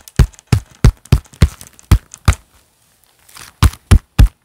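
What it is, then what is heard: Leather-gloved hands clapping. A pair of black leather gloves worn on both hands, with the gloved palms clapping flat together. Ten short, muffled, low thumping claps with a faint leathery rustle between them, falling silent for about a second before the last three.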